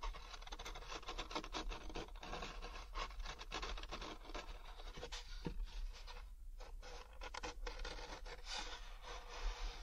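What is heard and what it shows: Fingertips and nails keep rubbing and scratching the rough, fibrous ridges of a large, thin, hollow molded paper pulp packaging tray. The result is a steady, dry, rasping scratch with bright texture over a low constant hum, with a brief near-silent gap around the middle.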